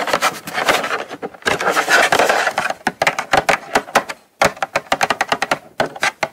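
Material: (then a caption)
Cardboard. Long nails tap and scratch the front face of a small, closed, hollow brown kraft cardboard gift box held upright. Dense, papery scratching bursts come first, followed by quick runs of crisp, hollow taps with a bright edge and a short resonance around 720 Hz.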